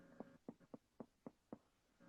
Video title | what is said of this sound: Make Sourdough with Camila Alves McConaughey & Head Doughpuncher David Norman (Part 2) | it should sound like somebody's knocking on the door. It should sound hollow inside.